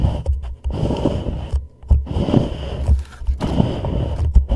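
A hollow white plastic reusable cup sits inverted over a microphone while a thumbnail and then the fingertips of both hands scratch and tap its side. The result is a deep, boomy scraping rumble broken by soft, dull taps, with a low hollow resonance and very little high end.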